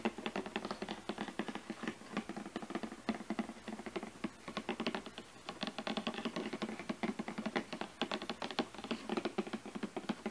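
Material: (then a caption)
Cardboard. Long fingernails tap and scratch across the top of a glossy printed cardboard product box resting on a carpet. Dense, rapid clicks and scratchy taps run continuously with short, dry decay, giving a crisp, papery patter.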